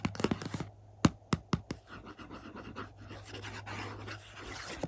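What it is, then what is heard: Cardboard slipcover of a movie box set. Fingertips and nails tap the front of a hollow, glossy printed cardboard slipcover for an Indiana Jones 4-movie 4K collection resting on a carpet. A quick flurry of light taps is followed by four sharper, hollow knocks. Then comes a long stretch of soft, bright scratching and tracing across the surface, ending with one last tap over a faint low hum.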